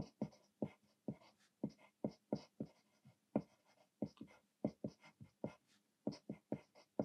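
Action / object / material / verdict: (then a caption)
scrape / paper sheet under a graphite pencil / paper / none. A thick graphite lead in a green clutch pencil scratches across a thin white paper sheet on a desk, one already partly written on, in steady handwriting. Short, dry strokes sound one after another, each a quick scratch with a low thump and a bright hiss that dies away at once.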